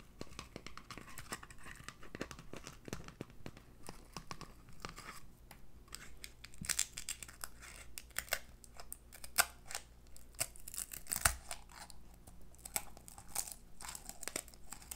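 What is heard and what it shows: A hollow, yellow-dyed eggshell filled with confetti is held in both hands and pressed, cracked and crunched with fingertips and long nails. The result is a dense stream of brittle crackling and crinkling, broken by sharp, bright snaps over a steady low hum.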